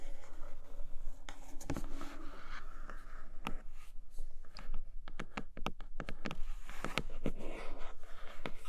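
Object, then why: Cardboard box with clear plastic window. Long acrylic nails tap and scratch across a flat tablet-case retail box made of grey cardboard, with a clear plastic window showing a red leather case inside. A steady, soft scratching texture is broken by sharp, dry clicks of the nails on the plastic window and the cardboard. Each tap dies away almost at once.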